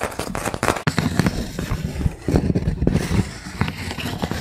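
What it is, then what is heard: Wooden trivet. A wooden linked-block trivet, first held edge-on and then laid flat, is tapped on its blocks with a fingertip and a fingernail. A quick run of dull, low wooden taps and light clicks follows, each one dying away almost at once.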